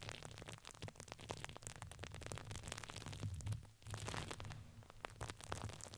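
Hands squeeze and crinkle a red patterned fabric ring with crinkly filling. The result is a dense stream of sharp, crackly crinkles over a steady low rumble, with a short lull near the middle before the crinkling resumes.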